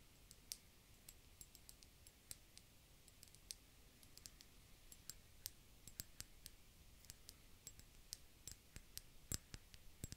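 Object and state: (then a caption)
Empty glass bottle. An empty, round, hollow, clear glass bulb-shaped bottle is held in both hands and tapped with long dark-painted fingernails. Quiet, rapid, irregular clicks sound bright and sharp with very short decay, over a soft low background hiss.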